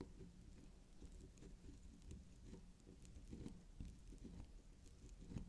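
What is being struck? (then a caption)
Soft soap bar. Long pink acrylic nails scratch and tap the spiral top and side of a small, solid, cylindrical bar of soft pink swirl soap shaped like candy. The sound is a quiet, low, muffled patter of soft taps and scratchy rustles, with faint bright clicks from the nail tips.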